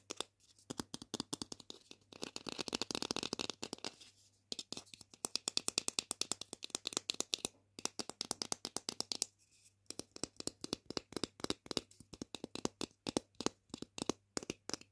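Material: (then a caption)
Plastic. A small hollow orange plastic toy chicken drumstick, a pretend-food piece held in the hands, is tapped and scratched with long pink painted nails. Rapid bursts of dry, bright clicks and scratchy rattling come with very short decay, separated by brief pauses.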